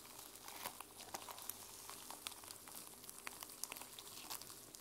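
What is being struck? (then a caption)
Journal with plastic sequin cover. A notebook with a plastic sequin cover is held in the hands while long nails scratch across the sequins. The result is a quiet, bright, crinkly scratching with many short, sharp clicks and ticks scattered through it, and almost no low end.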